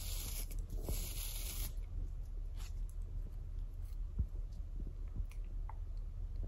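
A hand-sized wooden shoe polishing brush with dense, dark natural horsehair bristles and a solid wooden back is held in the hand while long acrylic nails and fingertips scratch and rub through the bristles. A bright, hissy scratching fills the first couple of seconds, then eases into softer, steady rustling over a low background rumble, broken by scattered small ticks and one sharper click.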